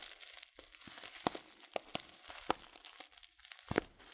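A filled Teekanne paper tea packet (loose-leaf) is squeezed and crinkled with the fingertips. Soft, papery crinkles with brief sharp snaps sound at irregular intervals over a faint hiss.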